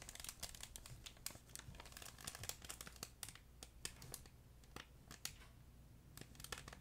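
A fuzzy yellow plush duck pet toy with a crinkle insert is squeezed and crumpled by hand close to the mic. Dense, bright crinkling and crackling plays throughout, with many short, sharp snaps standing out over a faint low hum. The overall level stays quiet and close.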